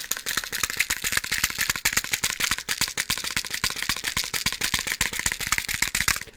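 A box of matches is shaken and handled for about six seconds, producing a fast, uneven rattle of dry clicks as the matches knock loose inside the box. The sound is bright and crisp, with almost no low end, and each click dies away at once. It stops abruptly at the end.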